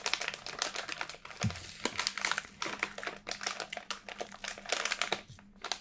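A small Schär Salinis gluten-free pretzel bag with thin, crinkly plastic-foil packaging, apparently full of pretzels, is held in both hands, squeezed and crinkled with the fingertips and thumbs, and turned from back to front. The result is a dense run of sharp, bright crackles and rustles with brief pauses. A faint low hum sits underneath.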